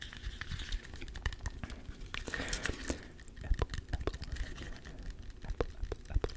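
A small, solid whole green apple, held in both hands close to the microphone, is tapped rapidly with fingertips and short nails. The result is a quick, uneven stream of soft, low thuds mixed with sharp, dry clicks that die away almost instantly, with a faint brushing rustle in the middle.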